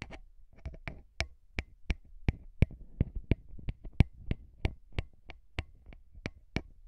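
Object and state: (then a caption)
Metal microphone capsule grille. Fingertips tap and rub the grilles of small hollow metal microphone capsules on a recorder. About 21 sharp, close taps land at an uneven pace, each a dry click with a heavy low thump. Soft scratchy rubbing fills the gaps between them.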